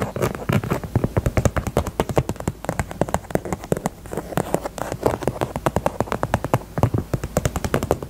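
Long nails tap quickly on the side of a small, hollow, pink faux leather heart purse. The result is a steady stream of dry, dull clicks with a soft, low body and almost no ring, in uneven bursts that briefly slow before picking back up.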